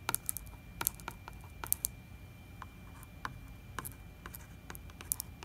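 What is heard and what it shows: Fingertips and nails tap and scratch the glossy plastic label and wall of a large 4 L plastic distilled-water jug that looks full. Sharp, bright, dry clicks and ticks come in irregular clusters, each dying out almost instantly. Between them are soft scratchy rustles over a quiet low rumble and a faint steady tone.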